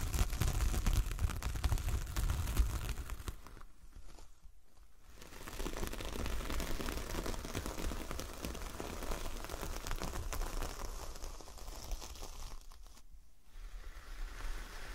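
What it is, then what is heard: Coconut coir door mat. A large, solid, flat coconut coir fibre door mat with a star print is scratched with long nails across its coarse fibres and tapped with fingertips. The result is a dense, crunchy scratching and crinkling texture with quick tapping. It fades to near quiet around four to five seconds, then resumes steadily and dips again briefly near thirteen seconds.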